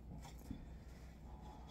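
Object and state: Nothing is struck.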